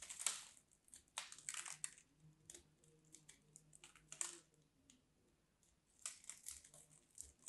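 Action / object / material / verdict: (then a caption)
scrape / bar of soap / soap / none. A small craft knife cuts into the edge of a solid, dry pink soap bar, breaking it into crumbly chunks. A quiet run of bright, crackly crunches and crumbling scrapes comes in short bursts, with soft gaps between the cuts.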